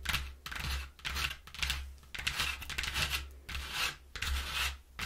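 Long nails and fingertips scratch and tap the inner panel of a flattened brown corrugated cardboard box. Bright, papery scratching comes in repeated rising-and-fading bursts, with light taps mixed in and a steady low hum underneath.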